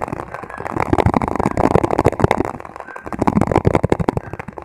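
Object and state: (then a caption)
Plastic margarine tub tapped. A hollow, empty white plastic margarine tub with a printed label is held upside down and tapped on its sides and base with the fingertips. Rapid, continuous, dry hollow taps come in quick bursts with a short, muffled ring, mostly in the lower and middle range with almost no high end.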